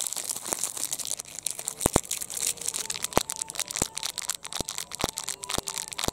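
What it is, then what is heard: Metallized plastic wrapper. A small, empty purple metallized plastic product wrapper is rubbed, crinkled and squeezed between the fingers. The result is a continuous bright, hissy crackle punctuated by sharp, dry snaps, with faint brief tones between them.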